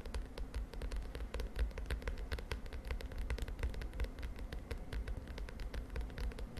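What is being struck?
Plastic spiral notebook cover.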